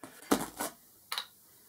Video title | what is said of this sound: Back to basics Grinding Wheels | if it was a cracked wheel it would sound like this sound a dull sound